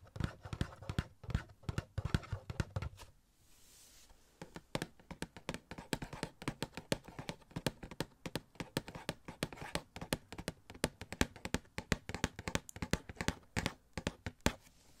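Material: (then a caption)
Cardboard. A small, hollow cardboard Spider-Man Funko Pop box with a clear plastic window and the figure inside is held in one hand and tapped with the fingertips of the other. Quick, dry, mostly low, hollow taps come in dense bursts. A brief quiet pause near the start carries only a faint, bright hiss before the steady tapping resumes.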